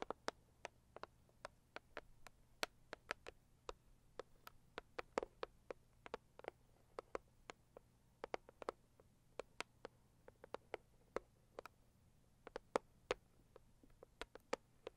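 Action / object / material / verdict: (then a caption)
tap / cardboard box / cardboard / none. Long acrylic nails on both hands tap the lid of a hollow, medium pink floral Saviland cardboard gift box. The result is a quiet, irregular patter of dozens of sharp, dry clicks with a hollow body around 500 Hz and bright edges, each dying away almost instantly over a faint steady low hum.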